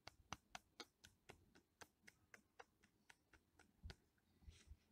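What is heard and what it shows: Fingertips and nails tap and scratch the grey-brown, vertically ridged, flaky bark of a solid living tree trunk. Sixteen short, dry, crisp taps, each with a bright clicking edge and almost no ring, come quietly at about four per second in an uneven rhythm. A soft, scratchy rustle rises near the end.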